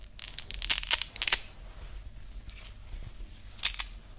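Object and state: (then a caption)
Nylon woven watch strap. A grey woven nylon loop watch band with a hook-and-loop closure is held in both hands, scratched with fingernails and pulled open. Bright, crackly rasps and ripping bursts come in clusters, then fade to a faint hiss before two more sharp tears near the end.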